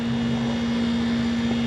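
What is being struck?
Nothing is struck.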